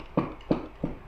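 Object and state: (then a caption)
Box with non-metal contents. A plain brown cardboard box holding two pieces of paper is shaken, giving three dull, low thuds with a soft, muffled tone and a quick decay. The contents sound like an ordinary item, not metal.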